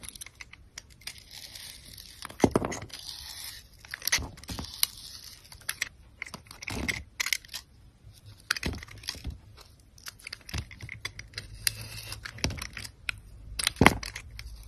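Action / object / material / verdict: scrape / bar of soap with a glitter coating, cut with a metal blade / soap / none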